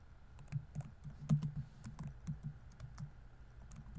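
Fingertips type quickly and densely on a laptop keyboard with plastic keys. The result is a quiet, steady patter of soft, low, thuddy key clicks with faint bright ticks on top and very short decays.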